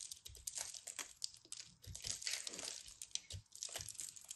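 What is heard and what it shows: A metal craft knife carves and scrapes the surface of a fist-sized solid ball of compressed colorful soap shavings, held in hands with long red nails, as crumbs fall away. Dense, bright, dry crunching and scratching come in rapid irregular bursts with almost no ring, mostly high-pitched with little low end.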